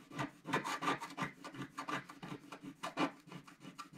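A wooden stylus scrapes the remaining black strip on the left side of a flat, black-coated scratch-art paper sheet held by the left hand. About fourteen quick, dry, rasping strokes sound in an uneven rhythm, each with a papery scratch centered around 1 kHz and little low end.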